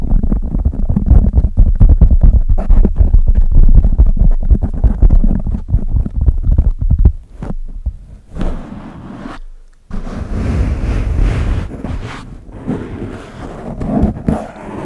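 Fingertips and nails of both hands scratch and rub the soft surface of a large black foam windscreen covering a microphone. The result is a dense, deep rumbling, rustling scrape, heavy in the low end. It briefly thins and quiets partway through, then returns with a slightly brighter, airier texture.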